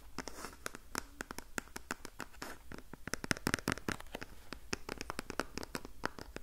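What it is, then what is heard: Cardboard box scratched with fingernails. A small printed cardboard box of facial sheet masks is held in the hand and scratched along its front with long painted nails. The result is a rapid series of short, dry scratching clicks with bright, crisp edges over a low background hum.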